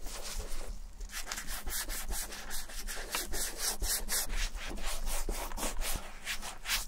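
Gloved fingertips rub shoe cream into the smooth leather toe and heel of a hollow, empty brown leather and suede Levi's vintage ankle boot held in one hand. The result is a steady series of soft, bright, brushing swishes that repeat in quick strokes over a low, dull rumble.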